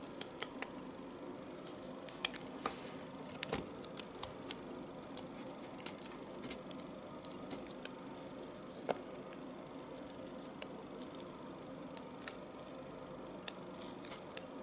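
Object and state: Bar of household soap shaved with a knife.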